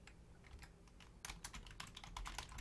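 Both hands type rapidly on a black plastic Logitech full-size keyboard with a hollow shell and membrane keys, using long painted nails and fingertips. Soft, bright key clicks and taps sit over a low rumble, growing louder and denser about halfway through. Each tap dies away almost at once.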